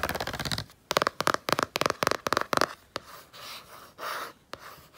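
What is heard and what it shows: Long painted nails and fingertips tap and scratch the blue printed cardboard cover of a Canson XL spiral sketchbook lying on a blanket. A quick burst of scratching gives way to bright, clicky nail taps in tight clusters with a ringing tone around 1 kHz. Softer rubbing scrapes and a final sharp tap follow.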